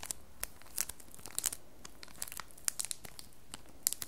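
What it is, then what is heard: Plastic-wrapped bar of soap. Long nails tap and scratch a solid square bar of red soap held up in clear printed plastic wrap. A scattered series of quiet, crisp taps and crinkly scratches with bright, sharp edges sounds over soft background hiss, each one stopping almost instantly.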